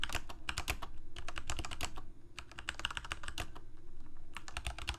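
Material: Plastic.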